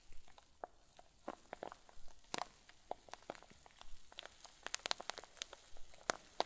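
A rectangular clear zip-lock plastic bag full of white fluffy filling is held up and squeezed with fingertips and thumbs. It gives a quiet, steady stream of soft crinkles broken by sharp, bright crackles that stop almost instantly.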